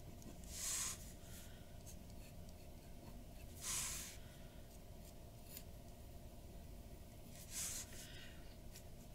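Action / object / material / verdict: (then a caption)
scrape / metal pen nib on paper sheet / paper / none. A glass dip pen's metal nib scratches hatching strokes across flat white drawing paper resting on a wooden desk, with the pen staying on the paper throughout. Three bright, hissing scratch bursts stand out, spaced a few seconds apart, over a quiet, steady low background.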